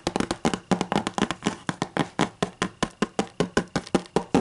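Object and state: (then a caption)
Hardcover book tapped. Long matte green and black nails tap and scratch a solid, closed hardcover book with a white cover lying on a table. About 29 quick, dry, clicky taps come in an uneven rhythm, each dying away almost at once, with faint scratchy texture between them.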